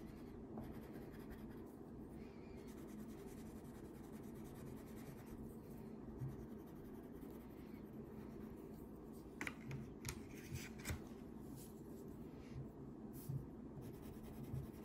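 A green wax crayon is rubbed back and forth across a thin paper coloring page lying flat on a table, coloring in a mermaid tail. A steady, soft, low waxy scratching continues throughout, with a few brief brighter ticks and scrapes near the end.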